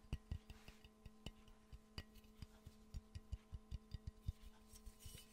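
A hollow, empty yellow glazed ceramic Pikachu mug, held in the hands, is rapidly tapped with the fingernails, giving 16 quiet, short, dull low knocks in an uneven rhythm. Each tap dies away almost at once over a faint steady hum.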